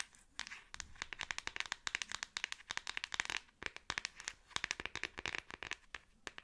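A Samsung smartphone in a black plastic back case is held in both hands and rapidly tapped on the back with long acrylic nails. About 36 quick, dry clicks come in uneven bursts, each bright and sharp with almost no ring and very little low end. The overall level is quiet.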